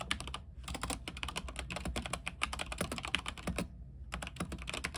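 Fingertips type rapidly on a mechanical keyboard with white plastic keycaps, set on a silver backlit frame. Dense bursts of bright, sharp clicks and clacks come in quick runs, broken by two short pauses, over a steady low hum. Each keystroke is crisp and dies away almost instantly.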